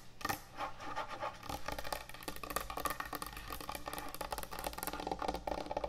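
Long nail tips scratch and tap quickly across the top and front edge of a large, thick, solid end-grain hardwood butcher block cutting board. The result is a dense run of short, dry wooden clicks mixed with rough scratching.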